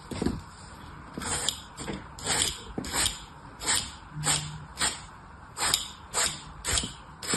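A solid green floral foam block, held by the fingertips, is carved and rasped with an orange utility knife. Fourteen short, bright, hissing scrapes and cuts repeat at an uneven pace, each fading almost at once. The dry foam gives a crisp, airy crunch with little low end.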